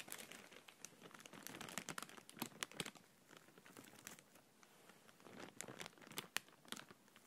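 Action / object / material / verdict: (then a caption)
scrape / thin empty plastic bag / plastic film / none. A thin, empty, clear printed plastic bag is crumpled and pressed between fingers and palms. It makes bright, crisp crinkling and crackling in quick irregular bursts. The bursts are busy at the start, grow quieter and sparse in the middle, then build back into sharp crackles toward the end.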